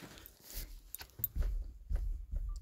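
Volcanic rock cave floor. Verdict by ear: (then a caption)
Hollow. Repeated thuds are struck on the volcanic rock floor of a tunnel inside a volcano, producing deep, hollow-sounding booms centered low around 60 Hz. The floor sounds hollow.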